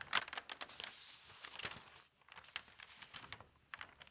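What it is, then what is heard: Newsprint newspaper pages. Fingertips with long nails lift and turn the thin newsprint pages of an open paper newspaper. The result is soft, bright crinkling and rustling with short crisp taps and scrapes, a brief quiet pause midway, and almost no low end.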